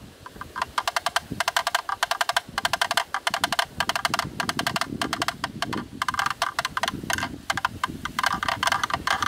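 A thin bamboo stick knocks rapidly on the inner rim of a black, rectangular, hollow plastic camera lens hood held in both hands. The taps come in quick, uneven bursts of dry, hollow clicks with a woody tone around 680 Hz and bright edges. Each click dies away almost instantly.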